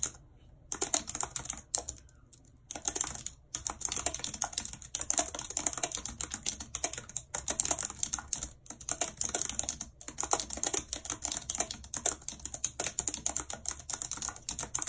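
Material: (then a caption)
Plastic. Long red acrylic nails type rapidly on the hollow keys of a full-size white plastic computer keyboard with a numpad, lying on a world map. The result is a dense, continuous stream of bright, sharp clicks and clacks, with almost no low end and a few brief pauses between bursts.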